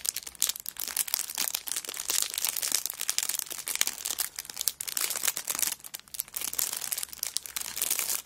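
A cellophane-wrapped kraft paper notebook lies flat on a rug while both hands rub and press it and long nails scratch and crinkle the plastic wrapper. The result is a dense, continuous stream of bright, crisp crinkling and scratching with very little low end. Many short crackles blur together in fluctuating bursts.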